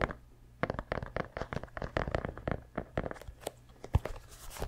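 Fingertips tap and scratch the heel and upper of an orange and grey mesh and rubber running shoe held close to the microphone. A rapid series of short, dry scratching and tapping bursts with a crinkly texture plays over a steady low hum. A sharper, louder tap stands out near the end.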